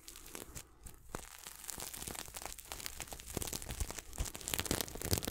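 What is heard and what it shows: Fingertips scratch and brush the sequins of a red and silver sequin throw pillow held close to the mic. The result is a steady stream of dry, crinkly scratching and rustling, with bright, irregular clicks over a low rumble that grows slightly louder toward the end.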